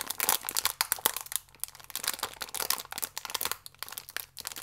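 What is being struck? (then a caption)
Biscuit pack in thin plastic film. A small Gran Cereale pack, a thin plastic film wrapper full of biscuits, is held and squeezed with the fingertips. The film gives off dense, bright crinkling with rapid sharp crackles that rise and fall in bursts, with a brief quieter gap near the middle.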